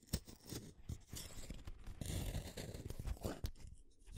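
A small metal blade shaves a solid purple wooden colored pencil, producing a series of short, dry scraping and crunching strokes. The strokes are quiet and low-heavy, with brief bright clicks and no lingering ring between them.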